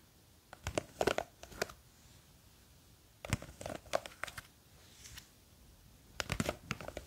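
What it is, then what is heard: Plastic jar of gel beads. Long green fake nails scratch the side of a small clear plastic jar full of blue gel beads while it is gripped from above. Quiet, dry scratching and clicking come in three bursts separated by near-silence, with sharp, bright ticks and crinkly textures that stop almost instantly.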